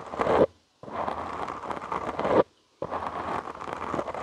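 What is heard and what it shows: Short nails and fingertips scratch a soft, porous black foam windscreen on a studio microphone. The result is three bursts of dense, crackly scratching separated by two brief silences. The scratching is close and full, centered in the low mids, with a rustling texture that swells toward the end of each burst.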